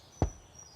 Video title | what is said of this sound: Sunday Morning Toast - A Calming 20 Minute Wind Down for Anxiety + 10 Minute Ambient Sleep Sounds | The sound is hollow and drumlike.